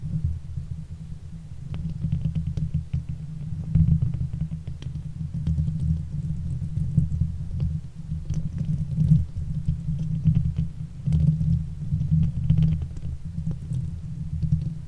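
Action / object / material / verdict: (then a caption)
scrape / steel mesh microphone grille / steel mesh / none. Fingers and nails of both hands rub and scratch the hollow steel mesh grille of a silver Blue Yeti microphone. The result is a steady, heavy low rumble that swells and dips, with faint, fine scratchy ticks scattered on top.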